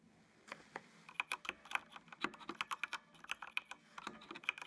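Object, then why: Plastic mechanical computer keyboard. Fingertips type continuously on a full-size black plastic mechanical computer keyboard with RGB backlight. The result is a quick, uneven run of short, dry, bright clicks and clacks that stop dead with no ring, over a quiet background.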